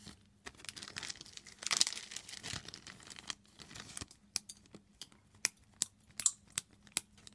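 A large, thin, clear plastic bag, empty and hollow, is crumpled and squeezed by hands with long green nails. Dense, bright crinkling and rustling fill the first half. It then thins into separate sharp, high crackles with quiet gaps between them.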